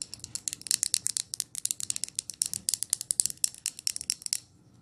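A glass jar candle is lifted and handled up close while long nails tap on its glass and lid. About thirty-five quick, dry, bright clicks come in an uneven run, each very short with almost no ring or low end. The tapping stops just before the end, leaving a faint hush.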